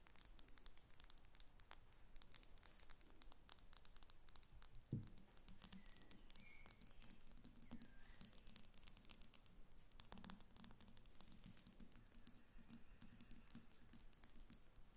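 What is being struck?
Small glass perfume bottle with metal cap.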